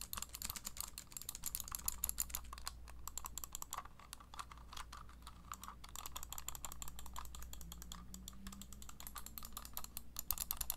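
Long nails tap and click rapidly on the shell and buttons of a small, hollow, black wired plastic gaming mouse held in one hand. The sound is a dense run of short, dry, bright clicks that sounds like typing, over a steady low hum.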